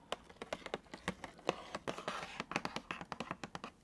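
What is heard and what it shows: Long nails tap and scratch across a medium cardboard retail toy box with a clear plastic window showing colorful balls inside, held upright in front of the face. About 25 quick, dry taps come through, with short scratchy rustles between them. The sound is light and crisp, centred around 500 Hz with some bright edges, and each hit dies away almost instantly.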